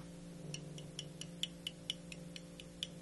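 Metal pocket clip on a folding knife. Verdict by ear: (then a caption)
Loose. A loose metal pocket clip on a Cold Steel Code 4 folding knife is moved so it clicks and rattles against the handle, producing a quick, uneven series of light, bright ticks over a steady low hum. The clip is loose, which is unusual compared with other Cold Steel knives.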